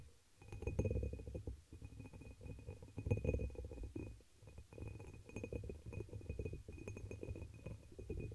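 Long nails tap and scratch the patterned surface of a dark amber embossed glass chalice, hollow and empty, inverted over the microphone. The result is a dense, muffled, low-heavy stream of irregular taps and scrapes with a boomy resonance around 105 Hz and a faint thin ringing tone near 2.5 kHz, pausing briefly a few times.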